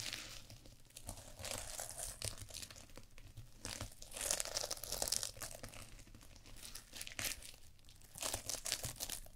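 Long purple fingernails scratch and rub a small fabric eye mask covered in flip sequins, worn over the eyes of a mannequin head. The sound is a dense, bright, crinkly scratching and rustling with a faint low rumble underneath, swelling into louder bursts around the middle and again near the end.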